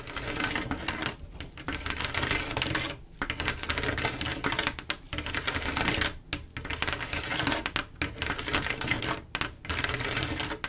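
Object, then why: Mirror glass mosaic tiles. Long acrylic nails tap and scratch quickly across a flat panel of silver mirror-glass mosaic tiles set in grout. Dense, bright clicking and scraping come in steady bursts with brief pauses, dry and short with little ring.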